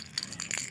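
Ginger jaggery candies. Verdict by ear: Hard.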